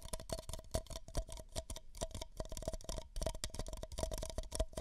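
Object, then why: Paper cups. Two identical empty, hollow beige paper cups are held over the microphone's ears and tapped rapidly with fingertips and nails. The result is a dense stream of quick, dry, hollow taps with deep thumping lows, a faint steady mid tone, and very short decay.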